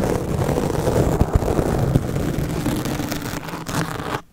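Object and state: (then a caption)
Foam microphone windscreen scratched with razor blades. Two steel double-edge razor blades held in the fingers cut and scratch a black porous foam microphone windscreen, tearing the foam more and more. The sound is a dense, boomy, low-heavy scraping and rustling with a few sharp crackling snaps. It stops abruptly just before the end.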